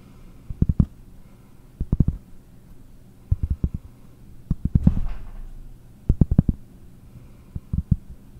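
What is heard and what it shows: A round, flat, solid cork disc held in one hand is tapped and scratched with long nails. Six quick clusters of dull, low, muffled taps die away almost instantly, with a short soft scratching rasp in the middle, all against a quiet background.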